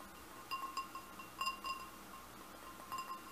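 Fingernails tap the bowl of a large, hollow, empty red glass goblet, giving light clinks that ring out at a clear tone around 1 kHz with bright overtones. The taps come in a few loose clusters against a quiet background.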